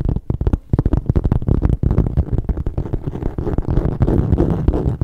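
A metallic gold textured leather satchel, its bottom panel and metal feet facing the mic, is tapped and scratched with fingertips and long nails. Dense, rapid, dull thuds mix with a soft, rustling scratch, sitting mostly low with almost nothing bright, and each tap dies away at once.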